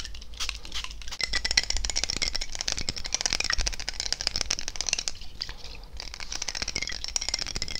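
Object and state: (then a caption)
Glass bottle tapped and scratched. A glass perfume bottle filled with yellow liquid and topped with a red cap is held in the hands and tapped and scratched with fingernails close to the mic. The result is a fast, continuous stream of sharp, bright clicks and scratchy rattling over a steady low rumble, with the taps blurring together.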